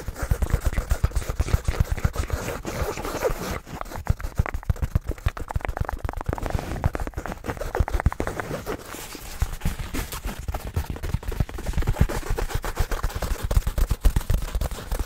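Fingertips and nails scratch and tap the surface of a medium black synthetic fabric (nylon/polyester) shoulder bag, soft and hollow, held close in front of the microphone. Quick, irregular, dull low thumps come in a steady stream, about four per second, mixed with soft scratchy rustling. Each tap dies away almost at once.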